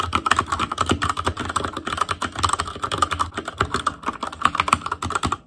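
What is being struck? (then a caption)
Mechanical keyboard with plastic keycaps. Rapid, continuous typing on an ASUS ROG Claymore Core mechanical keyboard with Cherry MX Red switches, black plastic keycaps on a metal frame, and a hollow RGB-backlit housing, struck by the fingertips of both hands. Quick, dense keystrokes give short clacky taps with a midrange ring near 1.3 kHz and a soft low thump beneath. There is no talking or music.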